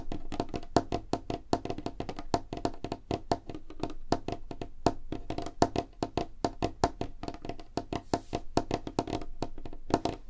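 Fingertips and nails tap rapidly on a solid, light wooden tabletop, producing a fast, continuous stream of short, dry knocks. Each tap dies away almost instantly, with a woody tone centered around 690 Hz and little high-end sparkle.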